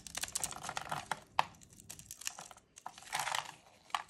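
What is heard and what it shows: A small metal blade scrapes and carves thin strips off a solid white, palm-sized rectangular bar of dry soap held in pink-gloved hands, with the shavings collecting on a wooden tray below. Bursts of dry, crisp crackling and scraping come through, bright and hissy, with a few sharper snaps, the loudest near 1.4 seconds, between short quiet gaps.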